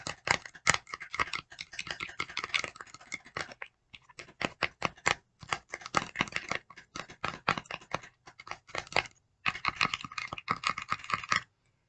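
Long decorated nails tap and scratch a small printed paperboard box of e.l.f. putty primer held in both hands. Dozens of quick, dry, bright clicks and scratchy rasps come in dense bursts, with brief pauses near 4 and 9 seconds and almost no low end.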